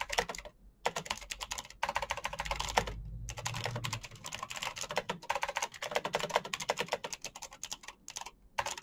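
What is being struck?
Plastic mechanical keyboard.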